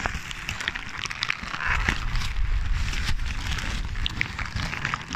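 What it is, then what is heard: Crumpled paper. Crumpled paper is squeezed and crinkled by hand right next to the microphone. It makes a steady run of dense, irregular crackles and bright crinkles over a heavy low rumble, swelling slightly in the middle and continuing throughout.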